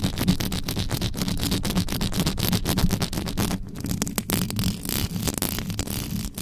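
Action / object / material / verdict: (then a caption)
scrape / metal microphone mesh grille / metal mesh / none. Long yellow nails on both hands rapidly scratch the hollow mesh grille of an uncovered black metal USB microphone. The result is a fast, dense, intense stream of rasping scrapes, heavy and booming in the low end with a thin bright hiss on top, easing slightly in the second half.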